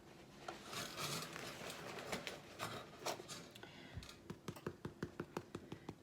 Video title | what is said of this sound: Making homemade French Bread | Hollow that's what you want